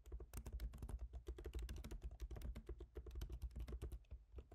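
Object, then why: Laptop keyboard, plastic keys in metal body. Both hands type with their fingertips on a MacBook Pro keyboard with black plastic keycaps set in a silver aluminum body. Rapid, short clicking taps come in a dense stream, with a soft low thump under each keystroke and almost no ring.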